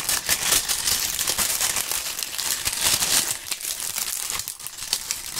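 Large, dry maple leaves held in gloved hands are crumpled and rubbed together, giving a dense, continuous crunching crackle. The sound is bright and crisp, with almost no low end. It stays steady for about five seconds, easing slightly near the end.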